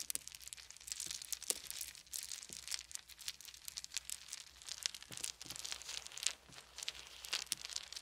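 Handfuls of small round wooden beads are held and poured from both hands, then fingertips rub the pile of beads. The result is a dense stream of quick, bright clicks and rattling with a crisp, crinkly texture and almost no low end, rising and falling in loudness throughout.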